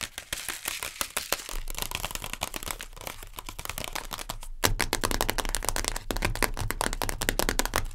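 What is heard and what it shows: Long nails rapidly tap and scratch the base, lid and side wall of a sealed Maggi instant noodle cup, a printed cardboard/plastic pot. Dense, irregular dry clicks and papery scratches follow one another quickly with almost no ring. Just past the halfway point the sound turns louder and fuller.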